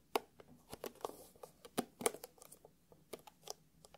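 Fingertips and short nails tap and scratch a closed, hollow, palm-sized black hard-shell eyeglasses case covered in glossy faux leather. It makes a quiet, irregular run of short, dry clicks and scratchy bursts that carry up into bright highs and die away almost instantly.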